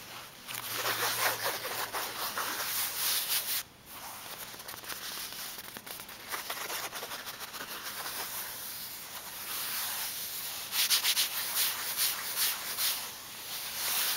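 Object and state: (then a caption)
Fabric zipper pouch being scratched. Fingertips and nails scratch and rub the smooth, slightly coated fabric of a flat, tablet-sized zipper pouch with a strap, printed in blue and pink with a butterfly pattern, which appears empty. The sound is a bright, hissy scratching and rustling with quick repeated strokes, dropping briefly to near silence before resuming and growing louder near the end.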